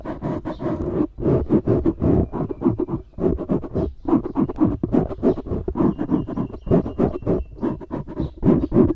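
Fingertips and nails scratch fast at a black foam windscreen on a microphone. The result is a dense run of close, rough, rustling scrapes with a full low-mid body and little high end. Brief gaps fall near 1, 3 and 4 seconds.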